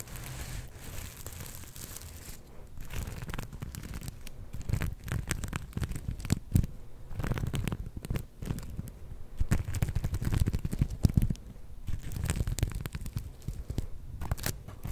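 A palm-sized soft star-shaped plush covered in black and gold flip sequins is scratched with long nails and fingertips, making the sequins flip. It produces a dense, continuous run of crinkly, tearing scratches and small crackles that swell and fade in uneven bursts, with a heavy low-end rumble throughout.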